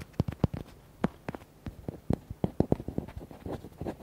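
Fingernails tap and scratch the back and side of a red, hollow, palm-sized rubber duck toy. A quick, uneven run of short, dull, low taps stops almost instantly with no ring. Softer scratchy rustling fills the gaps toward the end.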